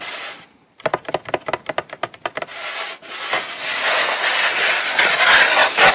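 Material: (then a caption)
Cardboard. Long pointed nails scratch and rub the lid of a small, closed, hollow brown kraft cardboard Coach box held in the hand. A brief rub and a pause give way to a rapid run of crisp, dry scratches at about four per second. It then turns into a continuous, bright, hissy rubbing across the papery surface.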